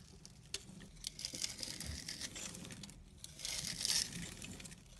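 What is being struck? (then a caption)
Bar of soap shaved with a small blade. A small red-handled blade scrapes and carves across the cross-hatched surface of a solid purple soap bar held in the fingers, flaking off small pieces of soap. Quick, irregular, bright crinkling scrapes come close together, growing louder and denser toward the end.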